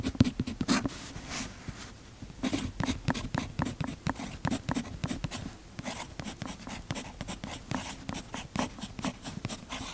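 A fountain pen's metal nib scratches across the paper page of an open notebook while writing, with the other hand steadying the notebook. Quick, dry scratching strokes come in uneven bursts with brief pauses, each stroke a short, bright rasp over a soft low rub from the page. The sound stays quiet and close throughout, with no ring after each stroke.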